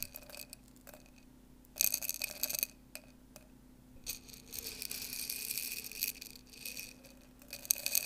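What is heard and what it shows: Fingers with long nails dig and stir through dry popcorn kernels in an open clear glass jar that is partly full, so the kernels clink against the glass. Bright, high rattling comes in bursts, with a longer steady stretch of stirring in the middle and a quieter low hum underneath.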